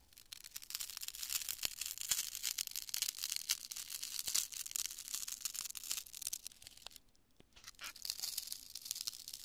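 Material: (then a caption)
Polyurethane foam. A large chunk of cured polyurethane spray foam, solid and porous, is squeezed and crushed in both hands with fingertips and long nails. It gives a dense, bright, continuous crackling crunch with sharp snapping clicks. The sound eases into a brief near-quiet lull around seven seconds, then the crunching resumes.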